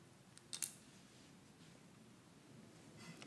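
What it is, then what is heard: Plastic press-on nails clicking. Long, thin, hollow white plastic press-on nails worn on both hands are tapped and clicked against each other in front of the chest. A few sharp, bright clicks come early, the loudest pair close together, and each dies away almost at once. Fainter ticks follow near the end over a quiet low background hum.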